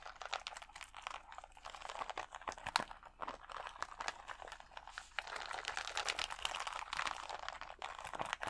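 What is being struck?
Acrylic rhinestone sticker sheet.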